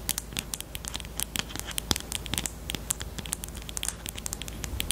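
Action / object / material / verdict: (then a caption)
tap / plastic highlighter pen / plastic / none. Long teal nails tap and scratch the barrel of a pastel pink plastic highlighter with a black cap, held in both hands. A quick, uneven run of dry, bright clicks with light scratching comes through over a quiet, steady low hum. Each tap stops almost instantly.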